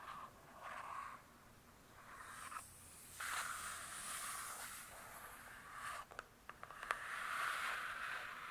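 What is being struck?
Hardcover book with glossy cardboard cover.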